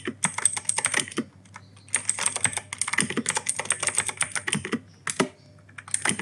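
Fingertips type quickly on an E-Yooso K-620 mechanical keyboard with plastic keycaps and clicky Outemu Blue switches. Dense bursts of sharp, bright clicks follow one another, with short pauses around the 1.5- and 5-second marks. Each click cuts off almost instantly with no ring.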